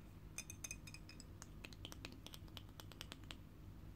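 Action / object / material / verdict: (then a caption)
tap / small glass bottle with screw cap / glass / none. Long painted fingernails tap on the screw cap and body of a small, full, dark glass bottle of blueberry juice held in the hands. About twenty quick, bright clicks and clinks ring briefly at high pitch over a low, steady background hum.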